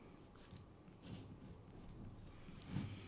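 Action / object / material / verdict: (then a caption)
scrape / carved wooden kuksa cup with pencil / wood / none. A pencil tip scratches and draws lines across the surface of a hand-sized, light wood kuksa blank with a hollowed bowl and handle hole, resting on a cutting mat. The quiet, dry scraping carries a soft low rumble, with faint bright strokes and a slightly louder scratch near the end.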